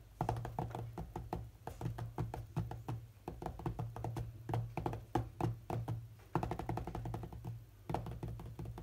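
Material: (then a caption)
Glass. Fingertips of both hands tap rapidly on the glass touchscreen of a large tablet lying flat during play. The result is a dense, uneven stream of short, dull thunks and knocks, heavy in the low end, with a steady low hum underneath.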